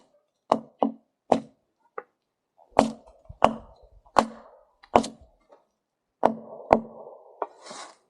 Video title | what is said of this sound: Cuttin Up Deadfall | It sounds good. Still sounds solid. No, no thud.